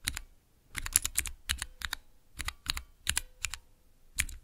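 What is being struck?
Clear plastic mechanical key switch tester.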